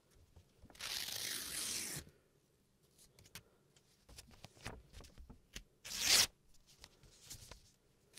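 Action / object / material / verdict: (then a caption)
scrape / thin paper sheet / paper / none. A thin sheet of paper, held in the hands at chest height, is ripped into pieces with the fingertips. A long, bright tearing rasp is followed by quieter crinkling and rustling, then a second, sharper rip. The paper ends up in torn pieces.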